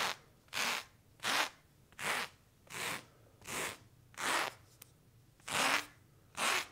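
A small serrated knife is scratched across worn, soft blue cotton denim jeans over the thigh. Eight separate dry, rasping strokes sound at a steady pace, each with a bright, hissy texture. A faint tick is heard between two of the strokes.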